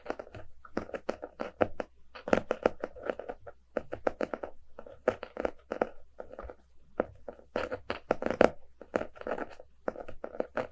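Fingertips and short nails of both hands tap and scratch the solid, paper-covered cardboard cover of a closed hardcover book lying on a rug. Quick, dry taps and scratchy strokes come in dense bursts separated by brief pauses, with a mid-range body and a little brightness on top. Each hit dies away almost at once.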